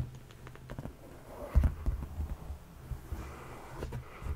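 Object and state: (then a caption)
Leather couch cushion. Fingertips and flat palms tap and rub a dark, padded leather sofa cushion, producing a series of soft, dull, low thumps that die away almost at once. Quiet brushing of skin on leather fills the gaps between taps, with almost no bright content.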